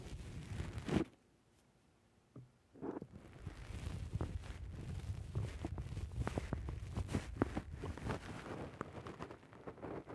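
Fingertips pinch and squeeze a black foam windscreen on a microphone from the top and side, producing muffled, low, rumbling squishes with soft crackling. After a loud squeeze, there is a brief near-silent pause, then dense, continuous squishing with sharp little pops scattered throughout.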